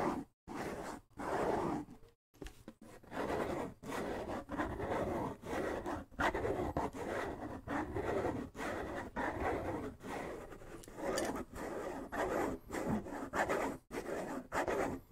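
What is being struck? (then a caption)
Wooden bongo drum with skin head. A hollow wooden bongo drum with a skin head is turned in the hands while fingertips rub and scratch across its shell and head. The result is a long run of soft, dry scraping bursts separated by brief pauses. The scraping has a warm, hollow midrange body and little bass or bright top.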